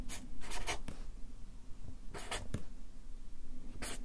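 A Sharpie marker writes capital letters in quick strokes on a stack of white paper resting on a clipboard. Its felt tip makes short, bright scratching bursts over a low, dull rumble, with quiet gaps between the strokes.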